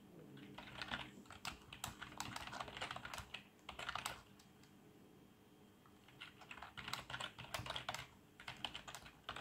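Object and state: Plastic membrane computer keyboard being typed on.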